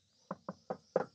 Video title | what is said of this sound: フルデッドニングで高級車レベルの静音＆音質劇的改善❗【ジムニーシエラJB74カスタム】 | この辺はさすがに響きますけど